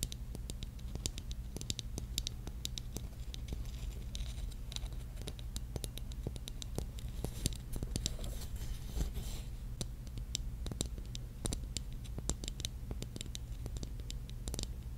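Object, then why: Small mushroom ornament covered in mirrored glass tiles. Long light-blue and yellow painted nails scratch and tap across the faceted surface of a small, hollow, mushroom-shaped ornament covered in pink mirrored glass tiles, held up in front of the microphone. Rapid, dry, bright clicks and scratchy ticks stop almost instantly, over a steady low hum.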